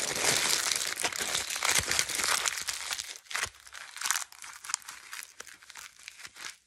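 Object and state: Aluminium foil sheet being crumpled.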